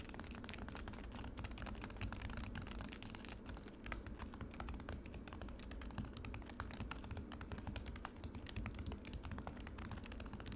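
Long acrylic nails on both hands scratch and tap quickly across a solid, flat slab of frozen lemonade ice in a black rectangular plastic tray. Dense, rapid clicks and scrapes run steadily throughout, bright and crisp over a low, constant rumble.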